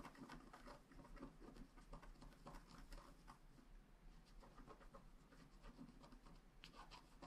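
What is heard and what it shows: A wooden stylus scratches the coating of a flat black scratch art card made of wax-coated paper lying on a table. Quiet, dry scratching strokes come in a steady series of short bursts over a low, constant rumble.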